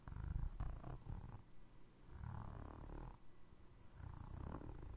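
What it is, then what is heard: Foam rubber clog sole, scratched and tapped. Fingertips and nails scratch and tap the ridged tread on the foam rubber sole of a navy Crocs clog held beside the microphone. The result is a soft, low, rumbling texture that sounds like purring, with brief scratchy bursts rising and falling throughout.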